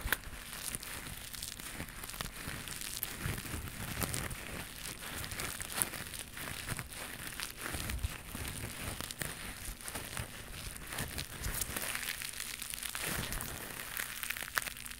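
A small white knitted mesh scrubber pad with a loop is held close to the mic and scratched and squeezed with long pink nails. The result is a steady, dense crinkling and crackling with bright, scratchy texture and occasional sharper snaps, all at a soft, even level throughout.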